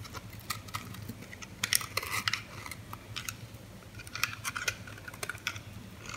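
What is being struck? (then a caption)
Bar of soap cut with a metal blade. A hand-sized pink oval bar of solid soap, held in the hand, has pieces shaved and cut off its edge with a metal utility blade. Crisp, bright scraping and cutting clicks come in clusters over a low steady hum, with short dry crackles as the blade bites into the soap.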